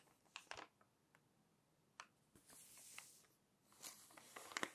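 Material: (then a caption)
Glossy paper. Fingers smooth the pages of an open glossy paper magazine, then lift and flip them. Short, dry papery ticks and crinkles come first, followed by longer, brighter swishing rustles as the pages turn, with almost no low end.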